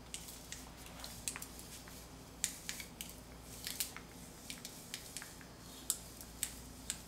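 A metal putty scraper with a blue-black handle, held by a hand with long dark nails, pushes under a thick layer of paint on a solid concrete wall and peels it off in a strip. Quiet, dry scraping is broken by a run of sharp, bright crackles and snaps as the paint lifts. A steady low hum sits underneath.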